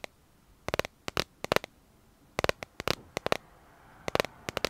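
Fingernails tap and scratch a smartphone in a clear plastic dragon-print case held horizontally. Irregular clusters of quick, dry clicks ring around a mid pitch with a bright edge, separated by short pauses. A faint scratchy hiss lingers after some of the bursts.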